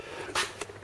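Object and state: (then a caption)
Hollow plaster on a cellar wall. Two taps on loose plaster hanging off a cellar wall give short, bright, hollow knocks with little low end. The plaster is hollow behind and needs to come off.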